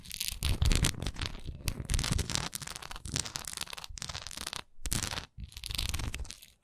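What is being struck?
Textured wax candle.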